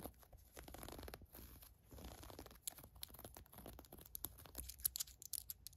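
Long acrylic nails and fingertips scratch and rub the elastic ribbed waistband and soft fabric of green cotton-blend fleece sweatpants lying flat on a fur rug. Soft, hissy rubbing swells give way to quick, dry scratching strokes with bright crackly edges. It ends in a run of sharp nail flicks.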